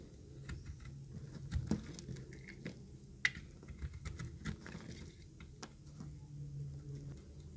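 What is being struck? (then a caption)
Bar of soap shaved with a blade. A thinned, pink-green speckled bar of solid dry soap is held in the hand and shaved with a utility knife blade. Quiet, dry scraping and soft crackling ticks come in an irregular patter over a low, muffled background, with a few sharper clicks standing out.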